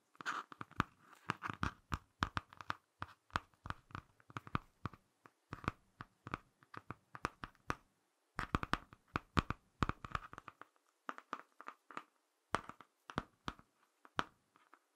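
Fingertips scratch and tap the laminated cardboard cover of a small, closed Ladybird hardcover picture book held close to the mic and moved around. Rapid bursts of dry, crunchy taps and scratchy strokes sound bright and papery with a low thump underneath, each dying away almost instantly. A brief pause near the middle separates the bursts.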